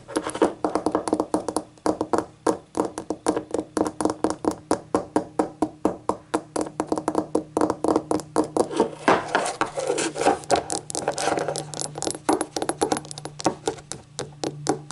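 Long acrylic nails rapidly tap a small, hollow, empty rainbow-glazed ceramic novelty shot glass held in the hand. The result is a steady stream of quick, crisp clicks with a short, dull ceramic ring around 720 Hz, each fading almost at once.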